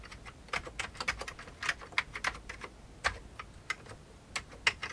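Fingertips of both hands type on the keycaps of a full-size old beige plastic computer keyboard with a hollow plastic case. About 17 separate keystrokes produce bright, crisp clicks centered around 2 kHz, each dying away almost instantly over a faint low background.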